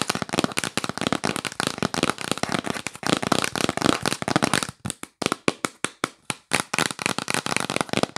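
Long nails tap fast on the lid of a yellow printed cardboard box held up close. A dense, rapid stream of dry, crisp clicks with no ring thins out after about five seconds into sharper, separate taps with brief silences between them.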